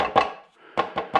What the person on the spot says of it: when you tap on it's pretty solid now